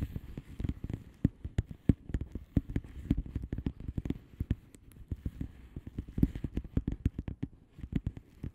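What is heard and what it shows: A flat blue plastic bubble wrap mailer envelope with air-filled bubbles is tapped and scratched with long manicured nails of both hands. Many quick, dull, low-weighted taps and scratchy clicks patter unevenly throughout, each dying away almost instantly.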